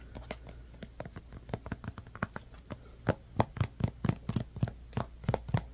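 A hand-sized white plastic Elmer's Glue-All squeeze bottle with an orange cap is held in one hand and tapped with the fingertips and nails of the other. About two dozen short, dry taps come in an uneven rhythm, each with a hollow low knock and a brief bright click. The taps grow louder in the second half.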